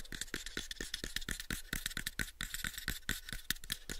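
Fingertips tap rapidly on the sides of a pale, unfinished, hollow wooden box about 7 inches on each side. The taps are quick, dry and knocking, each with a hollow low thump and a bright clicky edge around 1.7 kHz. They die away almost instantly in a steady, even stream.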